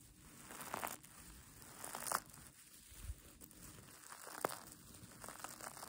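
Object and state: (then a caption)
Fleece and sequin blanket. Long nails and fingers crumple and scratch the soft pink fleece side of a mermaid tail blanket with a sequin edge, held in both hands. A quiet, steady bed of soft crinkling and scratching runs throughout, broken by a few sharper, brighter crackles and rustles.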